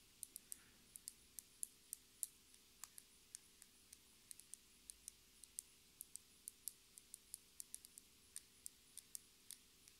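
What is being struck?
Plastic lip gloss tube.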